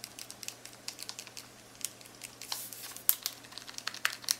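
Several long acrylic nails quickly tap, click and scratch across the plastic buttons of a black plastic graphing calculator keypad. The result is a rapid, irregular stream of short, dry, bright clicks with a brief scratchy rustle in the middle and almost no low end.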